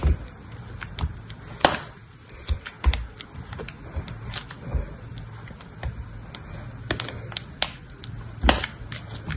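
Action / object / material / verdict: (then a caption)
scrape / soap block cut with a metal blade / soap / none. A metal box-cutter blade cuts and scrapes thin slices off a small, solid, grey-beige cube of dry soap held in the fingers. Repeated crisp, short cutting clicks and bright crumbling scrapes sound over a steady low hum.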